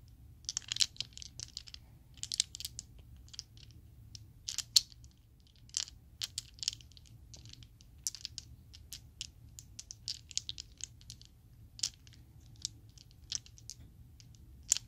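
A set of small solid purple Chessex plastic polyhedral dice is cupped and shaken in the hand, producing bursts of bright, dry clacks and clicks. The sharp ticks come in irregular clusters and die away almost instantly over a faint, steady low hum.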